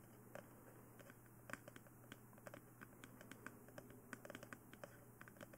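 Long nails tap and scratch the top of a glossy black, hollow plastic mannequin-style dummy head microphone, producing 23 sharp, dry clicks at an irregular pace. The clicks are quiet and die out almost instantly. Beneath them sit a steady low hum and a faint, bright hiss.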